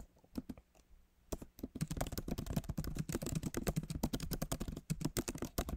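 Both hands' fingertips type on the backlit keyboard of a MacBook Pro, tapping its plastic keys set in a solid aluminum body. A few sparse clicks open the clip, then a dense, uneven run of quick, dry keystrokes with a low thud under each bright tick follows.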